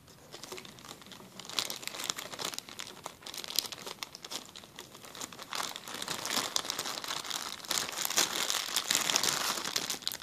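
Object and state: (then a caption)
Plastic zip-lock bag. A clear plastic zip-lock bag is pressed and crumpled under the fingers, giving a dense, bright crinkling made of many quick, irregular crackles. The crinkling starts soft and grows busier and louder toward the end.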